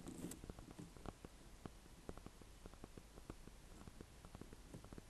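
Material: Gourd rind.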